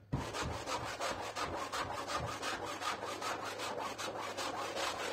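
A pink stiff-bristle push broom scrubs back and forth across a soaked, foam-covered, medium flat-pile printed synthetic rug lying on the floor. It makes a steady, rhythmic, bright rasping swish, like sawing, that repeats about every half second and runs the whole clip with little pause.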